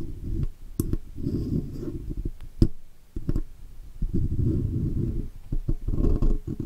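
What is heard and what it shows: The tip of a steel dental pick scratches and picks around the edges of the raised chrome oval Blue logo badge on the metal body of a Blue microphone. The result is a close, muffled, low scraping and rubbing, broken by several sharp, short clicks that die away at once.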